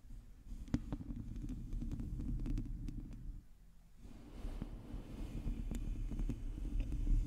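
Long teal nails on both hands scratch a hollow, domed metal mesh microphone grille. The result is a dense, low, rumbling scrape dotted with sharp little clicks. It dips quieter for a moment around the middle, then picks back up and grows slightly louder toward the end.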